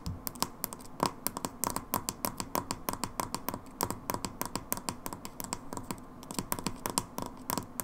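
Long nails tap and scratch the red plastic pump head of a hand wash bottle. The result is a rapid, irregular run of sharp, hollow plastic clicks with a faint ring around 1 kHz and short bright scratches in between.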